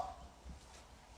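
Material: Nothing is struck.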